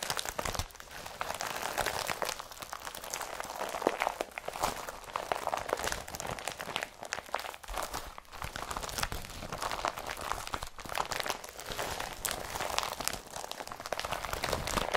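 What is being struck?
Empty woven polypropylene carrier bag.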